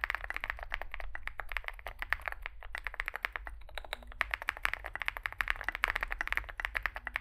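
Fingertips type continuously on a small Zoom65 65% mechanical keyboard with a dark case and white and grey plastic keycaps. The result is a fast, steady stream of short, bright clacks, each dying almost instantly, over a faint low hum.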